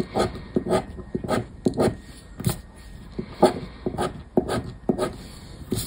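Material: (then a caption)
Paper. A black disc scraper is scratched back and forth over the latex coating of a paper lottery scratch card lying on a wooden table. Repeated short, dry scraping strokes come in uneven bursts, each with a gritty, papery rasp and a faint high hiss.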